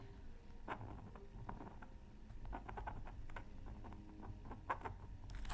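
A thin black-coated scratch art card from a Mythical Creatures Super Scratch Art Pad is held down by one hand and scratched with a pointed wooden stylus near a microphone. Quiet, short dry scraping strokes with a bright edge come in quick bursts over a soft low rumble.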